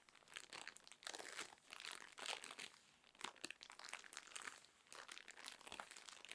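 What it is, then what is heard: Plastic-wrapped cotton pad roll. A full, cylindrical roll of cotton pads wrapped in crinkly plastic film is scratched and squeezed with long nails. The result is a continuous bright crinkling and crackling with dense, overlapping bursts and almost no low end.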